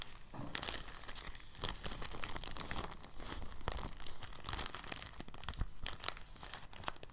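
A thin, translucent, empty plastic bag is folded and unfolded by fingertips, crinkling the sheet. Soft, steady crinkling and rustling carries bright, crisp crackles and sharp snaps scattered throughout. The level stays fairly quiet and even, with brief louder peaks.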